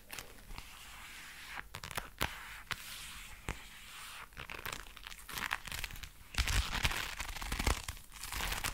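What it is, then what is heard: Leather gloves creaking. Dark brown leather gloves, worn on both hands, are rubbed together while the fingers flex, making the leather creak. Soft crinkling and rubbing run throughout, broken by short, sharp clicks and squeaks. The creaking grows louder and denser toward the end.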